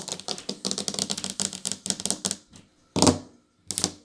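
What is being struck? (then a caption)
Ceramic tile tabletop. Long nails and fingertips tap quickly on flat painted ceramic tiles set into a solid tabletop, near a grout line, staying in the same position throughout. A fast run of sharp, bright clicks with short, dry decay gives way to a brief pause, then two louder, separate bursts of tapping.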